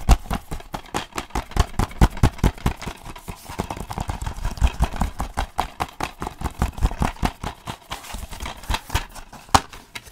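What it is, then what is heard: Plastic DVD case tapped. Fingertips and nails tap a closed, hollow plastic DVD case held upright in one hand. The result is a rapid, irregular stream of short, dry taps: dull hollow knocks mixed with sharper clicks from the nails, each dying away almost instantly.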